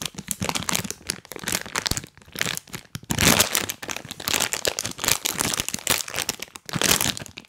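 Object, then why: Plastic snack bag. A full, printed crinkly plastic bag of chocolate cookies is held in both hands close to the mic and squeezed, rubbed and tapped with rubber toy hands worn on the fingers. Bursts of bright, crisp crinkling and crackling come and go in waves with short pauses between them, carrying little low end.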